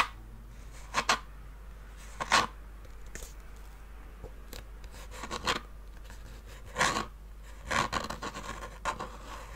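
Fingernails scratch and tap the top lid of a small hollow treasure-chest box made of faux-leather-covered wood with metal studs and a latch. Short, bright raspy bursts with a hollow ring around 1.1 kHz recur irregularly over a quiet, low background.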